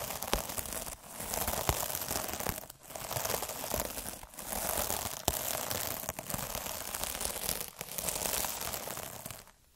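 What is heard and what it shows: A hand-held needle derma roller rolls and scratches across a palm-sized, puffy, iridescent plastic mesh scrub pad. The result is dense, bright crinkling and scratchy crackle in repeated swelling passes separated by brief dips, with occasional sharp clicks.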